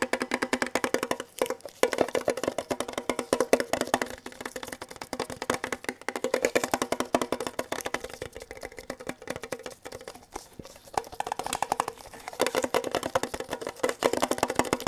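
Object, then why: Small printed metal tin box. A small, hollow, red printed metal Kellogg's tin box is held in both hands and tapped quickly with fingertips and nails, one hand gloved. The result is a dense stream of short, dry clicks with a hollow metallic tone around 530 Hz, each tap dying away almost at once, with some brief pauses and slightly louder bursts.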